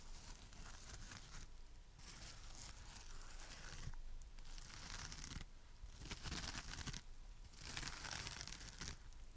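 A palm-sized, dry, porous, soft foam heart-shaped sponge with rainbow stripes (green, pink, yellow, red and blue) on one face and a pale back is held in one hand and tapped and scratched with long painted fingernails and fingertips. Bursts of bright, scratchy, tearing-like rasping alternate with quieter, muffled stretches over a steady low rumble.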